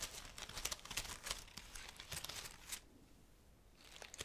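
A graduation wreath of fresh-looking green bay laurel leaves is held close to the microphone while fingertips and long nails rub and crinkle the leaves. Bright, dry crackling and rustling bursts come in quick, irregular succession, then briefly fall almost silent before a few more crinkles return at the end.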